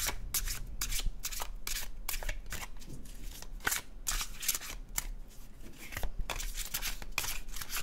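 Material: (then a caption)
Cardstock. An illustrated cardstock paper tarot deck is shuffled in the hands, its card edges sliding against each other. The result is a rapid run of dry, bright riffling and swishing bursts over a steady low hum.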